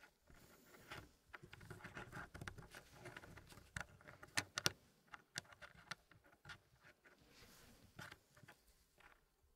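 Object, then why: Wooden puzzle pieces in a wooden tray. Solid wooden pieces are slid and pressed by fingertips in fingerless gloves into a small square Elegance wooden packing puzzle tray with a reddish hardwood zigzag frame and a light wood base. Quiet, irregular wood-on-wood rubbing and patter is broken by several sharp, bright, dry clicks that stop almost instantly.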